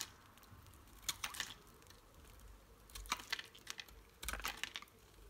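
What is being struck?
Bar of soap cut with a knife blade.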